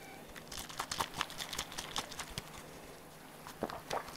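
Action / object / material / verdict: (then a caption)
tap / small plastic squeeze bottle / plastic / none. A small hollow pink plastic squeeze bottle with a nozzle cap is held in the hand and tapped and handled with the fingertips. Quick, crisp plastic taps and crinkly clicks come in a dense flurry, pause briefly, then return as a few final bright taps. The sounds are dry and short with no ring, over a low, quiet background.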